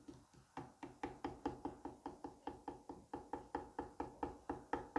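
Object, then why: Kinetic sand mound tapped with a small metal tool. A small metal curette tip taps and cuts repeatedly into a palm-sized solid dome of green kinetic sand resting on a white plate. About twenty quiet, soft, dull taps come in a steady, even rhythm, each a short muffled crunch that dies away almost at once.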